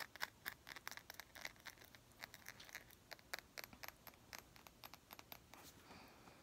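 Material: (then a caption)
Glass. A small clear glass perfume bottle with a gold cap is held in both hands and tapped rapidly with long nails. The result is a quiet, uneven stream of short, bright clicks and ticks centred around 1.6 kHz, each dying away almost instantly, with little low end.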